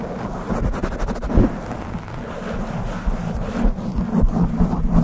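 A dark, soft, porous foam windscreen over a large upright studio microphone is gripped and scratched fast by hands with long nails. The result is close, rumbling handling noise that is mostly low and muffled, with a few heavier thumps rising out of the dense scratching.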